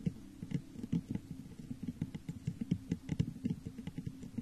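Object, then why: Textured glass vase. Long nails and fingertips tap the sides of a medium-sized hollow, textured clear glass vase set upside down over a microphone. The result is a quiet, quick patter of many short, dull knocks with a hollow low resonance and almost no ring after each tap.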